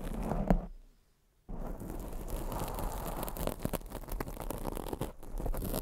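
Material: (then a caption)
Foam. Long acrylic nails scratch a black foam microphone windscreen, making a dense, low, muffled rustling and scraping. The sound drops out into near silence for about half a second, then resumes as steady scratching with brief louder bumps.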